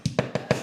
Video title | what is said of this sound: Tile Tenting CATASTROPHE! --- WHAT CAUSED THIS??? | that's like a bass drum there